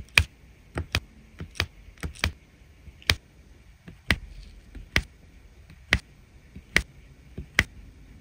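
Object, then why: Resin rhinestones pressed with a drill pen onto adhesive canvas. A drill pen tip taps resin drills (rhinestones) one by one onto the adhesive along the edge of a diamond painting canvas. About 12 short, crisp, bright ticks come at an uneven pace over roughly eight seconds, each dying away almost instantly over a faint low background.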